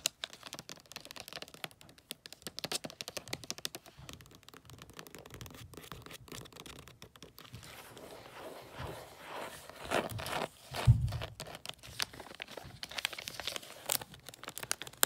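Fingertips and nails tap and scratch across a long, narrow gift box wrapped in holographic pine-print foil wrapping paper. The result is a quiet, steady stream of crisp, crinkly ticks and scraping rustles, with a couple of louder, duller thumps near the middle.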